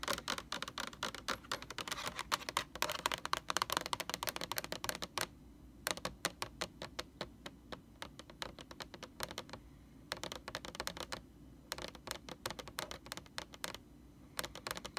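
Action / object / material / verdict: tap / plastic laundry detergent jug / plastic / none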